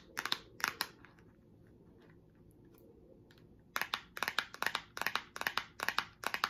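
Long acrylic nails tap and scratch the surface of a small, closed pink cardboard product box held in the hand. A few sharp, bright clicks open the clip, followed by a quiet stretch of faint scratching, then a quick, steady run of crisp taps to the end. Each tap is dry and short, with little low end.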